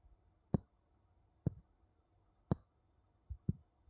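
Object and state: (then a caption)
Wooden bowls tapped together. Two wooden bowls are tapped against each other, giving four sharp, dull knocks about a second apart, with a softer knock just before the last. Each tap is low-pitched and dies away almost instantly in a quiet setting.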